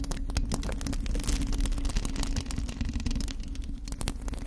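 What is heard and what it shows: Long acrylic nails on both hands scratch the bare black metal mesh grille of a USB condenser microphone's hollow head. The result is a dense, fast, irregular scratching with a heavy low rumble and thump dominating, a steady low hum underneath, and faint bright scraping streaks on top.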